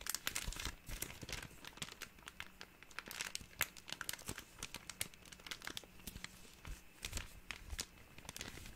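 A small, empty, thin clear plastic bag is crinkled and rubbed between the fingers, giving a dense run of sharp, bright crackles and rustles that rise and fall in irregular bursts for about nine seconds. A faint, steady low hum sits underneath the crinkling.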